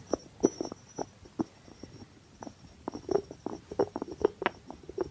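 Fingertips tap and scratch the top of the cork stopper on a small, hollow white ceramic jar with a blue rim, held in the hand. The result is a quiet, irregular series of soft, dull taps with a hollow mid-pitched body, mixed with light scratching. Each tap dies away almost instantly, over a faint, steady high-pitched tone.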